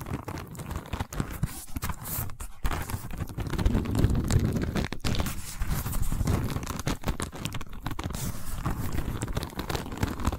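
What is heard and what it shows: Long white fingernails on both hands scratch the woven surface of a long rattan/wicker tube held horizontally. The result is a steady, dense crackling and rasping texture, full and low-heavy, with quick scratchy bursts running throughout.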